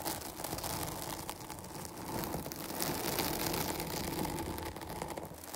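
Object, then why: Foam microphone windscreen. Long nails on both hands scratch the sides of a dark foam microphone windscreen. The result is a continuous, dense, scratchy rustle of fine crackles spread across low and bright tones, holding a fairly steady level throughout.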